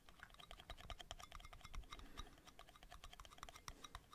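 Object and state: Metal lids tapped.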